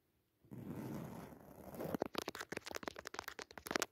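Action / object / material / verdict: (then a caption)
scrape / padded woven fabric cushion / woven fabric / none. Long natural nails scratch across the textured weave of a soft, padded white woven jacquard fabric cushion with a red leaf pattern. A steady, rough scraping rustle is followed by a rapid series of short, crisp scratches.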